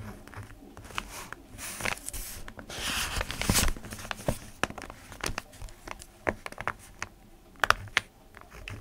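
A ballpoint pen scratches across the lined sheet of an open paper notebook while fingertips rest on the page. The result is dry, bright scratching and crinkling with many short, sharp ticks. A longer rustling swell comes around the three-second mark.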